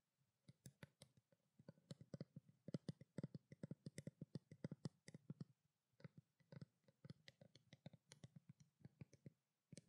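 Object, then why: Small plastic bottle. Long black nails rapidly tap a small, hollow white plastic skincare water bottle held close to the microphone. The result is a quiet stream of short, dry clicks with a soft hollow low thump and a bright tick on top, each dying away almost instantly. The taps come in quick bursts with a brief pause near the middle.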